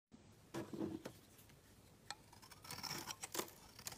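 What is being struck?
Bar of soap shaved with a steel blade.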